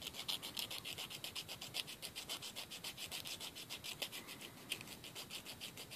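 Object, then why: Emery board nail file on a fingernail. A thin, solid emery board nail file is held upright and rubbed against the edge of a fingernail, close up over a wooden table. It makes a quick, fairly steady run of short, dry filing scratches with a bright, high rasp centered around 3 kHz and almost no low end.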